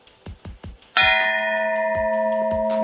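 A vintage glass lampshade, most likely Hungarian, is tapped once and rings out clearly like a bell, with a bright tone around 2.5 kHz and lower partials sustaining for nearly two seconds. Several soft low thumps come just before the strike. The long, clean ring is taken as a sign of fine old craftsmanship.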